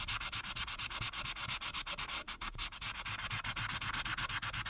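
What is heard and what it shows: A plastic marker's felt tip rubs rapidly back and forth over the top background area of a flat printed paper coloring page, coloring it orange, while one hand holds the sheet down on a dark backing. The strokes make a bright, dry, scratchy swish that repeats in a quick, slightly uneven rhythm, with a brief softer gap partway through.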